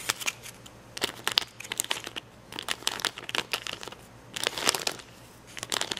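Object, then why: Acrylic rhinestones on a plastic sticker sheet. Fingertips and nails pick and scratch at red and yellow acrylic rhinestones on the clear plastic backing of a plastic rhinestone sticker sheet. Bright, crisp crinkly clicks and scratchy taps come in clustered bursts separated by short quiet pauses, with almost no low end and no ringing after each touch.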